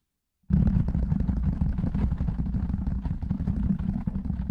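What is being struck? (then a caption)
Foam windscreen on a microphone. Fingertips and short nails tap and scratch rapidly on a large, soft, porous black foam windscreen fitted over a metal condenser microphone. After a half-second of silence, a dense, continuous run of muffled thumps and rustling scratches begins, heavy in the low end around 180 Hz, and keeps up steadily to the end.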